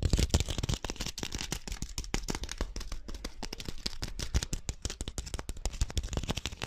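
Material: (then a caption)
Rattan. Fingernails scratch and tap rapidly along the woven strands of a small, hollow, pink-dyed rattan (wicker) ball held in both hands. The result is a dense, fast stream of dry, crackly clicks and scratches with soft low thumps beneath and bright, brittle detail on top. Each tap dies away almost instantly with no ring.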